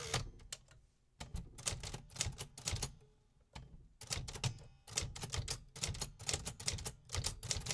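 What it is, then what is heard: Metal typewriter being typed on. Fingertips type continuously on a vintage 1950s metal typewriter, producing sharp mechanical clacks with bright, high key strikes over a low thud from the body. The keystrokes come in rapid bursts separated by brief pauses, each hit dying away quickly.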